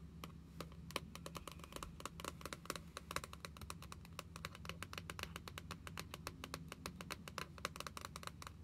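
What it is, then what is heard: Spiral-bound paper book with laminated card cover. Long nails rapidly tap and scratch the glossy laminated card cover of a small, closed spiral-bound paper passport book with a solid stack of pages. The result is a dense run of sharp, bright clicks with a dull body over a low steady hum. At the end the book is lifted slightly.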